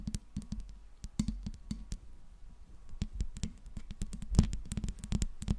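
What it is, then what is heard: Metal microphone body tapped and scratched. Long pink nails tap and scratch the smooth metal body and grille ring of a silver Blue Yeti microphone. The result is a quick, irregular run of dull, low-heavy clicks and thumps, each dying away almost at once, with faint scratchy ticks between them.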